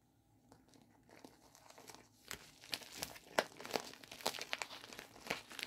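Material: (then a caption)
Plastic. A medium-size, hollow pink poly bubble mailer envelope is gripped and crinkled with the fingertips, and its flap is opened at the end. Sharp, bright plastic crinkles and crackles start faint and grow denser and louder, with no low rumble beneath them.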